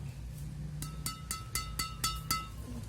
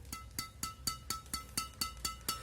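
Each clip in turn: First: badminton racket string bed, bright ringing ping. Second: Badminton racket string bed, bright ring with short sustain.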